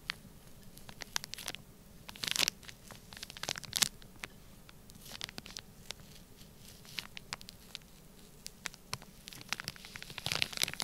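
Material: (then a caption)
Sand, plastic. A thin black pointed stylus scratches and traces lines across a sealed clear plastic bag packed with orange kinetic sand lying flat. The sound is a bright, crinkly scratching made of many quick ticks and crackles over a quiet bed, with louder rasping bursts near the start, middle and end.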